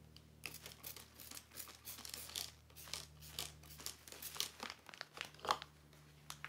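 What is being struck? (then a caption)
Thin polyethylene plastic sheet. Fingertips press and smooth a large, thin, black glossy plastic sheet cover spread flat, producing repeated bright crinkling bursts. The crackles come in quick, uneven clusters over a faint, steady low hum.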